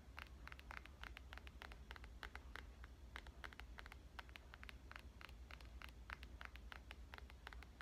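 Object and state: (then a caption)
Glass-and-metal smartphone tapped with fingernails. A black glass and metal smartphone is held in the left hand while the fingernails of the right hand tap on its glass surface. Quick, sharp, bright clicking taps come in an irregular, rapid stream, each dying away almost instantly, over a steady low hum.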